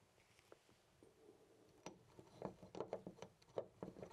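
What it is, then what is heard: Loose brass door knob rattled. A loose brass-colored metal door knob on a white panel door is held with the fingertips and jiggled, rattling in its mounting. Quiet, short, dry clicks and knocks with almost no ring start sparse, then come faster and louder toward the end.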